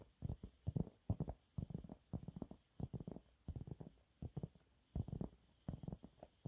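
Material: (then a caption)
Cellulose. A yellow, textured, thin and flat cellulose sponge cloth, held up in both hands, is scratched with medium-length fingernails. The result is about thirty short, dry, muffled scratches in quick clusters separated by brief pauses. The sound is dull and low, with almost no bright content and no ring after each stroke.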